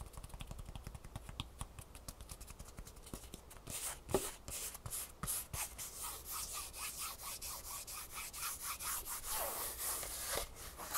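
Long nails rub and scratch quickly across a green Superfeet foam shoe insole with a textured fabric top and gray foam underside. The result is a dense, bright, scratchy rustle with a few soft thuds scattered through it, growing slightly louder and hissier toward the end.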